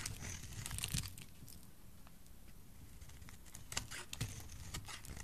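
A solid, rounded bright green bar of dry soap, held in the hand, is cut and scraped with a metal blade. The result is dry, crisp crackling and scraping with short crunchy bursts, louder near the start and again toward the end, over a low rumbling background.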